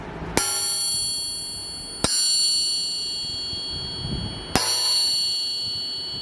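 An aftermarket forged steel crankshaft (Scat forging) is tapped three times, each strike giving a long, bright bell-like ring that sustains between hits. Tapped for comparison with a stock crank, the longer ring serves as a quick way to identify a forging.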